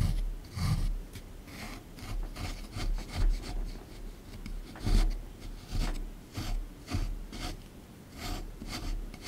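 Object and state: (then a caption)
Plaster excavation block being scraped. A small plastic pick held in the fingers scrapes repeatedly at a hard plaster excavation block with a broken, crumbly surface, resting in a tray. The result is a series of dry, raspy scraping strokes with a heavy low rumble underneath and short bright gritty bursts on each stroke.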